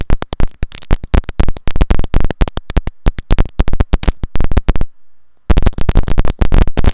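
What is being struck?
Plastic earphone inline remote and mic.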